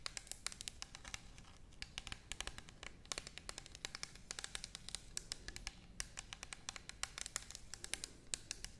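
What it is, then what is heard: Plastic bottle tapped with nails. Long nails tap and scratch the side of an orange plastic toner bottle held horizontally. The result is a quiet, dry stream of rapid, bright clicks and scratches with almost no ring.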